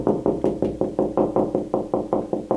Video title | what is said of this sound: How to Find Wall Studs When Installing Closet Shelves | hear that high-pitched noise and you'll feel that it's it's more dense right there so i know there's a stud right in there